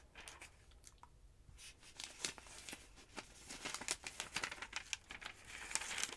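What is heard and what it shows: A long-nailed hand rubs a page of a large open paper phonebook, then lifts and flips a bunch of pages. Soft, bright papery rustling and crinkling gives way to crisp, sharp page snaps that grow louder and denser toward the end.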